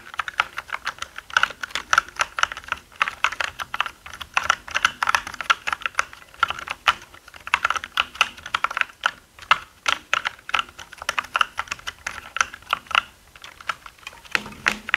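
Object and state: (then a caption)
Plastic mechanical keyboard. Both hands type with their fingertips on a black mechanical gaming keyboard with plastic keycaps, producing a rapid, steady stream of sharp, clicky keystrokes. Each key strike is short and dry, centered around 1.4 kHz with bright upper clatter. A faint low hum enters in the final second.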